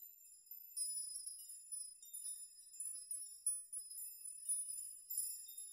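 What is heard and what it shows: Fingertips gently rock strands of hanging metal nails so they chime against each other. The result is a soft, steady tinkling of very high, bright metallic pings with short rings, rising and falling in irregular clusters, with no low end at all.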